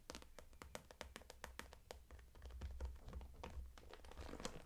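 Long acrylic nails tap and scratch the front and zipper edge of a closed, transparent daisy-print PVC cosmetic bag with pink zipper trim, full of makeup items. A rapid series of short, crisp plastic taps with bright clicky tops mixes with soft scratching over a steady low rumble. Each tap dies away almost instantly.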